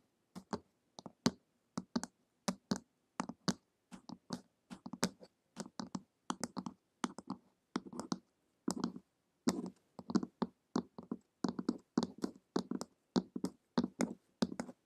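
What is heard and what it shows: Long acrylic nails tap the glossy printed cover of a flat, solid hardcover book lying on a table, mostly with one hand. Quick, dry clicking taps come in irregular clusters throughout, each with a bright, crisp edge over a low hollow thump near 240 Hz. Every tap dies away almost instantly.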